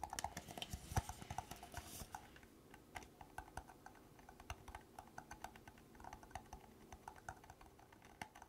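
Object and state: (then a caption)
Plastic party cup tapped and scratched with nails. Long black nails tap and scratch the bottom of an empty, hollow red plastic party cup held up close. The result is a quiet, rapid patter of dry, clicky taps with a hollow mid-range knock and brief scratchy rasps, busiest in the first two seconds before settling into sparser taps.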